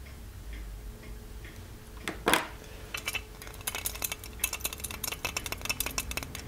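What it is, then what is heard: Gold-plated metal lamp. Fingertips tap the spout and the lid of a small, ornate, hollow gold-plated metal genie lamp. Quiet, scattered taps give way to a brief brushing burst, then a quickening run of light, bright ticks with very short ring over a faint low hum.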